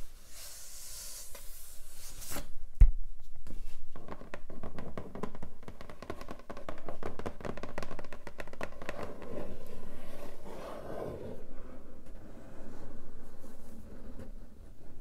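A long, flat, hollow pink cardboard keyboard box is tapped and rubbed on its lid by long nails, with a sharp knock near the start. It then gives dense, irregular scratching and tapping textures with low hollow resonance before the box is lifted by its edges.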